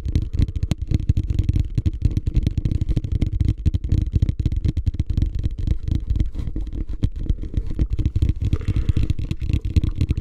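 A medium beige, hollow, empty plastic hotel ice bucket is held upside down in front of the face and tapped and scratched on its sides with fingertips and nails. A steady stream of rapid, dull, low thumps mixes with faint scratchy crackle. Each hit dies almost instantly with no ring.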